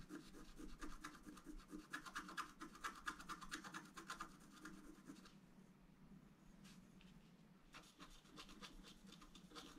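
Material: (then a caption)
Coated paper. A wooden stylus scratches a fountain column into a flat, black-coated scratch art paper card, making quick, rhythmic rasping strokes with a bright, dry edge. The strokes are busiest in the first half, ease into a softer, steadier rub in the middle, then pick up again near the end.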